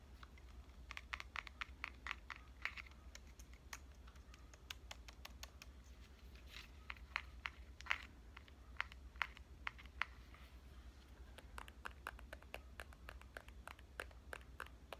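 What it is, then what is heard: Compact digital camera being tapped. Long painted nails tap on the body and lens ring of a small pink compact digital camera with a solid metal and plastic body. The result is dozens of quick, dry, bright clicks in an uneven, typing-like rhythm, each dying out at once, over a steady low hum.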